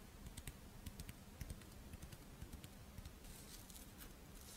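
Long painted nails scratch and tap the embossed surface of a hand-sized, Doraemon-shaped monaka held in both hands, a crisp, dry rice-flour wafer shell with chocolate filling. About twelve quiet, irregular taps are heard as short, dull low knocks with bright, crisp clicks that die away almost instantly, over a soft scratchy rustle.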